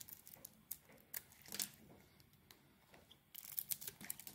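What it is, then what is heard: Soap bar being carved. A metal utility blade carves flakes off a solid Palmolive soap bar with a blue coating and green interior. Quiet, bright, crisp scraping and crackling cuts come in short bursts, thin out in the middle, then return more densely near the end.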